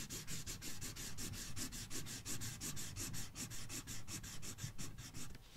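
A red felt-tip marker scribbles in continuous strokes across the thin paper page of an open Halloween coloring book resting on a box. It makes a rapid, fairly steady back-and-forth scratchy rubbing, with each stroke a bright papery hiss over a soft low rumble.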